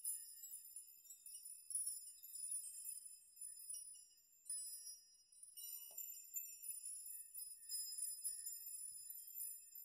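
Spread fingers sweep through a chime of hanging metal nails, setting them jingling against each other. A quiet, continuous, bright tinkling shimmer of high metallic tones, with no low end, swells and fades in overlapping waves throughout.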